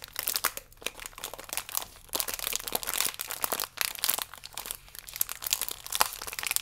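A plastic biscuit pack is turned on its side and flipped over while fingertips and nails crinkle the film. The result is a continuous, bright, crackling crinkle made of many dense small clicks and rustles, with almost no low end and brief swells and lulls.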